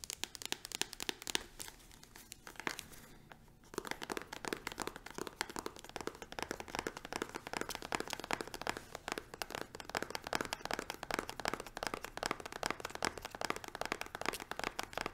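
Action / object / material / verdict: tap / plastic squeeze tube / plastic / none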